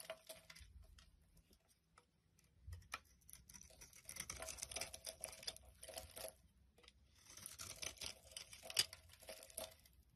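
A solid pale yellow soap bar with an embossed logo is held in hand while a utility knife blade repeatedly scrapes curls off it. The result is quiet, bright, crisp shaving and crinkling sounds that come in bursts, with short pauses between passes.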